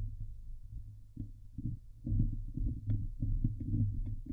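Fingertips and long nails scratch and grip the hollow metal mesh dome grille of a Blue Yeti microphone. The result is a deep, muffled rumble of irregular thumps and scraping bursts, almost all low in pitch, that grows louder and busier after the first two seconds.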